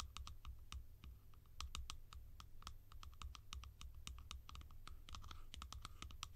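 Fingers tap across a collection of plastic lids in a quick, uneven rhythm of short, dry clicks that each die away almost at once. A steady low hum sits underneath the tapping throughout.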